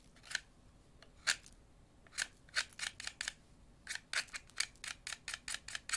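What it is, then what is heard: Wooden pencil being whittled. A thin, solid wooden pencil held in one hand is shaved with an orange-handled utility knife blade, dropping wood shavings onto a paper napkin. About twenty short, crisp scraping cuts come in irregular bursts, bright and dry with almost no low end and no ring after each stroke.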